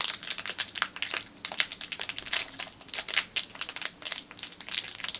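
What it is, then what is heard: Plastic bag crinkled by fingers. Fingers and nails crinkle a small clear plastic packet with a black rubber band inside. The result is a dense run of sharp, bright crackles and rustles with almost no low end, each burst dying away almost at once.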